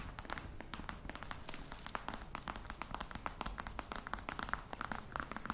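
Long nails tap and scratch the top of a hollow black croc-embossed faux leather box. A rapid, steady stream of dry, short clicks with a hollow knock carries a bright, papery scratching texture. The taps ring around 1.3 kHz and die away almost instantly, without pause.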